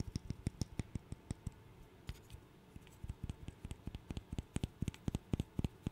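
A small, solid, light wooden interlocking burr puzzle is held in the fingers and tapped and clicked with the fingernails. About 31 quick, dry clicks come in irregular bursts, with a brief lull near the middle. Each one is short and woody with almost no ring.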